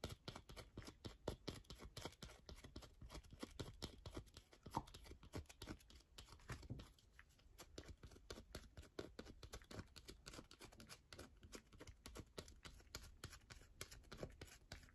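A solid yellow bar of soap is held upright and scratched with long nails, making a rapid, continuous stream of dry scratching and tapping clicks. The short, sharp ticks run densely for the whole stretch at a quiet, steady level.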